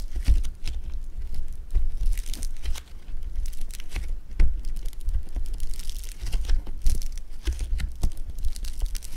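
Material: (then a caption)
Foam beads. A lump of blue foam bead clay is squeezed and pulled with fingers, producing dense, continuous crunchy crackles. Bright, crisp pops run throughout, over soft low thumps from the handling.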